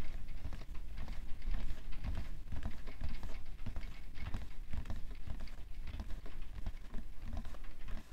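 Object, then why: Cardboard tissue box. A medium-size printed cardboard box of Shisara face tissues (90 pcs), hollow and full of tissues, lies on white fur and is tapped and scratched on its side with fingertips and manicured nails. It makes a dense, rapid patter of short, dull taps with low thuddy body, laced with quick, brighter scratchy strokes. The taps die away almost instantly.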